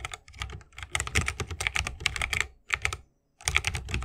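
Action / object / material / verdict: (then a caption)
tap / mechanical keyboard, bamboo case, plastic keycaps / bamboo, plastic / none. Fingertips of both hands type continuously on a 60% mechanical keyboard with a bamboo case, plastic keycaps and Holy Panda switches. Each keystroke gives a short, bright clack over a soft low thock, with the rapid strokes running together. The typing stops briefly just after three seconds, then resumes.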